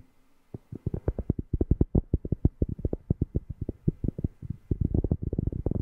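A cork object is tapped close to a microphone in a rapid, steady series of deep, bassy thumps that begin after a brief quiet moment. Each tap is short and dull with almost no ring, and the sound stays low with nothing bright above it.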